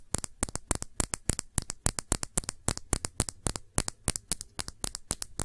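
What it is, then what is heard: Glass perfume bottle. Long nails scratch around the body of a round glass perfume bottle with a blue cap, partly filled with liquid. About 33 quick, dry scratching strokes come in an uneven rhythm, each a bright, crackly rasp with a soft low thump and almost no ring.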